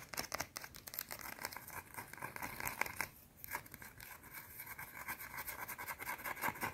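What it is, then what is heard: Soap bar being scratched. Long teal painted nails scratch quickly across a small, round, flat, solid white soap bar held in the fingers. The result is a dense, bright, crackly scratching with short, sharp strokes, pausing briefly near the middle before resuming.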